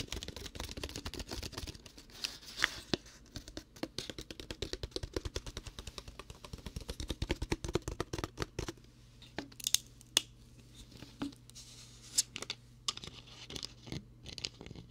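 A clear plastic water bottle with a blue label, hollow and partly filled with water, is held close to the microphone. Fingertips squeeze and scratch it, producing dense, bright crinkling and crackling with many quick clicks. The sounds are steady at first and thin out into sparser, sharp pops later, over a faint low hum.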